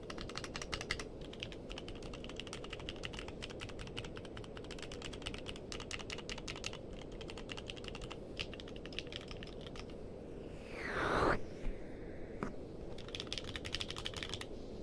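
Both hands type with their fingertips on a compact mechanical keyboard with a purple case and plastic keycaps. Quick, irregular clacking keystrokes with bright clicks ride over a steady low background noise. Near the end a louder, brief whooshing sweep interrupts the typing, and then the keystrokes resume.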